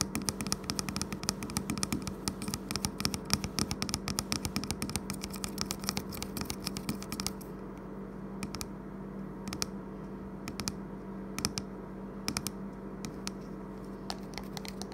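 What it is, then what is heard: Plastic liquid bottle, partly full. Fingertips and nails tap rapidly on the printed label of a large, hollow plastic e-liquid bottle, partly full of amber liquid and resting on a wooden table. The taps are dense and quick with short, crisp clicks for about seven seconds, then become sparse, isolated taps over a steady low hum.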